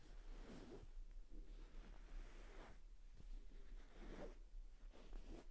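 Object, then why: Fabric-covered cushion. Both hands scratch the soft suede- or microfiber-like cover of a medium-sized beige, soft-filled faux suede pillow held against the body, using short red-polished fingernails and fingertips. Quiet, breathy scratching strokes swell and fade in repeated bursts over a steady low hum.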